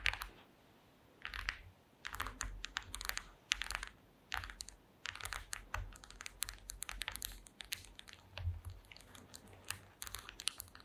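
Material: Wood.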